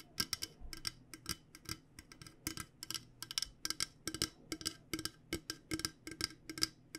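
An insulated stainless steel water bottle, a hollow purple coated metal bottle, is tapped with long nails in quick irregular bursts. The taps are short bright clicks with a high metallic ping and very little ring, over a faint low hum.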